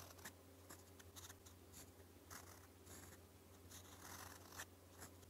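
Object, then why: Metal pen nib on a paper sheet. A gold metal fountain pen nib, held in the fingers, scratches across a thin, flat, lined white paper sheet while writing Korean in purple ink. Quiet, dry, bright scratching strokes come in short bursts with brief pauses between them, over a steady low hum.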